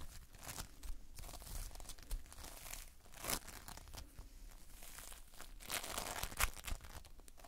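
A lump of multicolored Playfoam, foam beads in a sticky binder, is held and squeezed in the fingers close up. It gives a steady stream of soft, sticky crackling, tearing and crinkling pops with a low rumble underneath. A few brighter, sharper snaps stand out near the middle and end.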